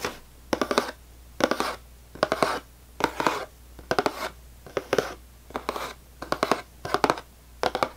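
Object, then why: Cardboard cracker box. Fingernails tap and scratch the top and front face of a full cardboard saltine cracker box. About ten short, dry bursts of clustered taps and scraping rasps come at an uneven pace, with a papery midrange body and a bright scratchy edge. Each burst stops dead with no ring, leaving near-silence between them.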